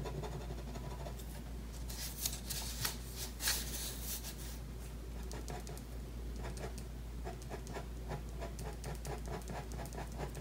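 A pen scratches drawing strokes across a thin white paper sheet bearing an ink drawing, lying flat on a wooden table while the other hand holds the sheet in place. Bright, scratchy strokes over a steady low hum are loudest early on, then give way to quicker, lighter ticking strokes toward the end.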